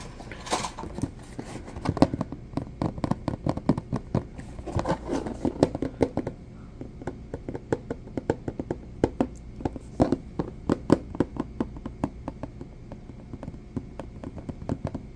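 A medium rectangular purple plastic food storage container with a textured lid, empty and hollow, is tapped with fingertips and nails on the lid and sides. The first six seconds bring dense, rapid clusters of dull, hollow taps, which then give way to sparser, evenly spaced single taps with short, dry clicks and almost no ring.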